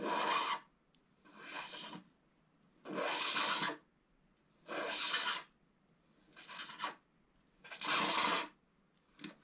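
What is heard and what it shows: A scratch-art paper board, held flat by one hand, is scratched along its lower edge with a wooden stylus. Six separate raspy scraping strokes, each lasting under a second with quiet gaps between, are followed by a short stroke at the end. The scraping is bright and hissy, centred around 1 kHz with plenty of high content and almost no low end.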